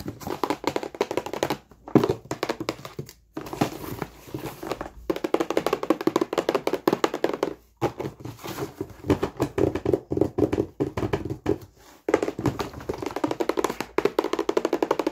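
A medium printed cardboard Wet Head board-game box, hollow, is held in one hand and tapped fast with the fingertips and short nails of the other hand. Dense runs of quick, hollow, mid-pitched taps and thunks with almost no ring fill the clip, broken by a few brief pauses.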